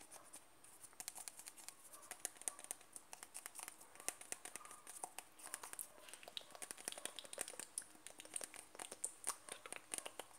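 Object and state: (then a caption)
Plastic cream jar. Fingertips and nails tap and scratch the side and lid edge of a closed white plastic cream jar held upside down. A quiet, steady stream of rapid, dry clicks and light scratchy rustling fills the clip, bright and crisp with almost no ring after each tap.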